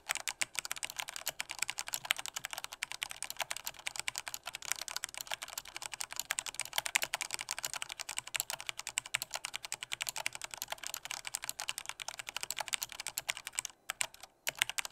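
Fingertips of both hands type hard and fast on a full-size black plastic Corsair K68 mechanical keyboard with Cherry MX Red switches and a hollow body. The result is a steady, dense stream of sharp, bright clacks with almost no low end, broken only by a brief pause near the end.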